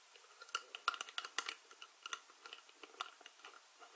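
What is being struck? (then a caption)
Plastic screw lid on a small glass jar. Fingers with long nails grip, twist and scratch the white plastic screw lid of a small glass spice jar full of dried herbs. About seventeen quiet, sharp clicks and taps come through, with soft scratching between them. The sound is dry and bright with no low end, and a faint ring sits around 1.4 kHz.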